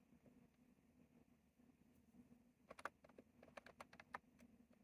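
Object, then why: Plastic mechanical keyboard with round keycaps. Fingertips type slowly on a retro plastic mechanical keyboard with round plastic keycaps. After a quiet stretch with a faint low hum, eleven crisp, bright clicks land unevenly in the last two seconds, each dying away almost instantly.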